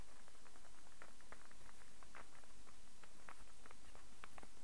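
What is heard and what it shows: A solid wooden star burr puzzle is held in the hand while fingertips tap it and nails scratch across it. Soft, irregular clicks and dry scratches rise over a steady low rumble and faint hiss, all at a quiet level.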